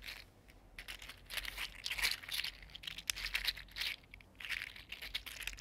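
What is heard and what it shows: A small, hollow, articulated purple-green mini mermaid fidget slug, 3D printed in PLA plastic, is flexed and rolled between the fingertips. Its segments click and rattle against each other in dense, bright, crinkly bursts that rise and fall in waves, with almost no low end.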